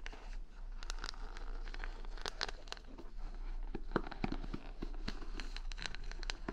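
Long nails scratch and tap across the plastic rhinestone stickers covering a wooden paddle hair brush held against the microphone. The result is a steady stream of crisp, crinkly scratching broken by sharp bright clicks, over a constant low hum.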